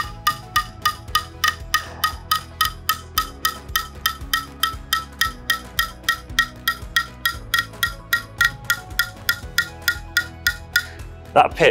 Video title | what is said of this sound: Let's Try It - Hot Chocolate Effect | That pitch is increasing. It is rising higher and higher and higher.